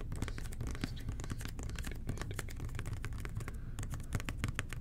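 The fingertips of both hands tap rapidly and continuously on a red and white plastic toilet cleaner bottle with a blue nozzle. The result is a dense stream of soft, hollow plastic taps. Each tap has a dull, low-weighted body and a quick, dry decay.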